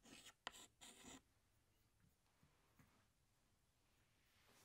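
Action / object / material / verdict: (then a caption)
scrape / chalk stick on a chalkboard / chalk / none. A hand draws a flower outline with a tan chalk stick on a large, flat black chalkboard. Three quick, bright, scratchy chalk strokes come in the first second. They are followed by near silence with a few faint, soft taps and light rubbing.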